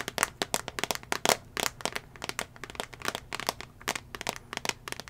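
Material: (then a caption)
Glass. Fingernails tap rapidly on the glass touchscreen of a small iPad mini tablet, held in the hand in a solid teal plastic/rubber case. About 28 sharp, bright clicks with very short decay and little low end follow one another in an uneven flurry.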